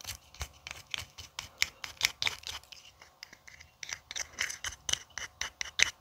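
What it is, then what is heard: Empty aluminium tealight cup. A small, empty, hollow aluminium tealight cup held in the fingers is scraped and scratched inside and along its rim with a thin wooden orange stick. About 25 quick, dry, bright scratching strokes centred around 2 kHz are heard, with almost no low end, no ringing after each stroke, and a short lull just after the three-second mark. The scratching then resumes more densely through to the end.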